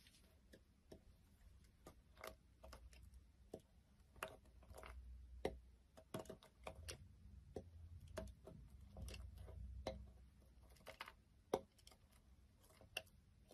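A small knife blade scrapes and carves a palm-sized, solid beige Johnson's soap bar held in the fingers on a wooden surface, peeling off shavings. The blade gives quiet, irregular sharp clicks and brief scraping strokes over a soft low rumble.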